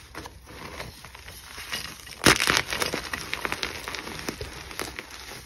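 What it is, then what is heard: Gym chalk block crushed by hand. A solid white gym chalk block, held in both hands with long pink nails, is crushed and squeezed with the fingers, breaking it into crumbly chunks and powder. Soft, bright crackling builds to a sharp, loud crunch about midway, followed by a rapid series of dry, gritty snaps and crumbles as the chalk falls apart.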